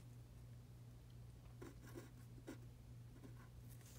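A pen tip scratches across a thin printed paper practice sheet lying flat on a dark table in continuous writing strokes. Soft, faint scratching sounds over a steady low hum, with two slightly louder strokes standing out.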